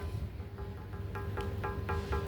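A stone bell is knocked repeatedly, each strike giving a short bright tap over a steady ringing tone near 400 Hz. A low, constant rumble sits underneath, and the bell rings clearly between knocks.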